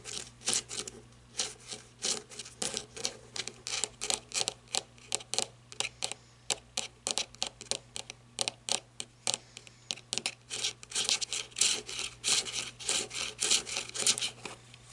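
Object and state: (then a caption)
Rubber-gripped flashlight. Long red nails scratch the ribbed, rubber-like grip of a black flashlight held in both hands, rasping back and forth. The result is a stream of quick, bright, irregular scrapes and ticks over a faint, steady low hum.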